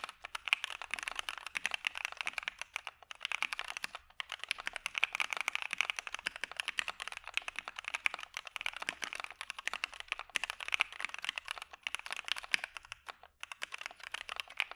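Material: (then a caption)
PBT plastic. A dark Maja mechanical keyboard with PE foam and white PBT keycaps is typed on with the fingertips of both hands. Fast, steady keystrokes make a dense stream of short, crisp clacks with no low-end thump, centered around 2.4 kHz with bright highs. Each click stops almost instantly, with brief pauses between bursts.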